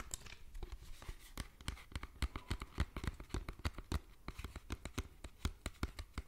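A small clear plastic bottle with a yellow screw cap, about a third full of yellowish-green liquid, is held close to the microphone and tapped and scratched with fingertips and nails. The result is a quick, irregular stream of soft, dull taps with a low thump to each, mixed with short, bright scratchy clicks that stop almost instantly.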